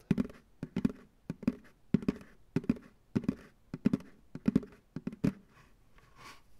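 Fingertips tap the base and sides of a medium white plastic ice cream pail, hollow, empty and turned upside down. The taps come in quick, irregular clusters of dry, hollow thunks with a low-mid body around 230 Hz and almost no ring. A soft, faint brushing sound trails off at the end.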